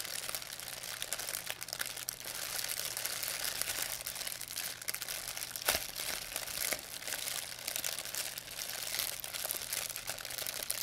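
A thin white plastic pharmacy bag with red and blue print, crumpled into a ball, is crinkled and squeezed in both hands by fingers with long painted nails. It makes a steady, dense, bright crackle of rapid little crinkles throughout, with a sharper crunch around the middle and almost no low end.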